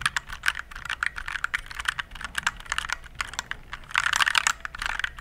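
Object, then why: Plastic mechanical keyboard. Fingertips type on a compact RGB-backlit plastic mechanical keyboard held close to the mic, making a fast run of sharp, clicky keystrokes. Each press is a short, dry tap with energy centered in the mid range and bright upper detail. Near the end comes a denser, louder burst of typing.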